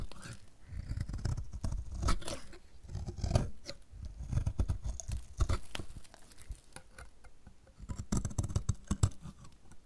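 A metal utility-knife blade shaves strips off the edge of a solid, dry yellow bar of soap held in the hand, in repeated scraping strokes. Each stroke gives a dry, crackly, low scraping with brief bright clicks, swelling and fading in uneven bursts.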